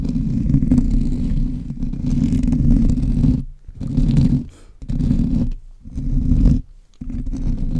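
Fingertips of both hands scratch and rub a black foam windscreen covering a microphone, the mic itself being touched. It produces a dense, boomy, low rumbling scrape with almost no high content. The scraping comes in five bursts separated by brief near-silent gaps.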